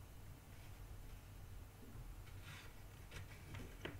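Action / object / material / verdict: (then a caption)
scrape / cardboard jigsaw puzzle pieces in a cardboard box / cardboard / none. Fingertips stir and scratch through loose cardboard jigsaw puzzle pieces in a shallow cardboard box that is half full. The result is a quiet, continuous papery rustle with brief, bright scratchy clicks toward the end, over a steady low rumble.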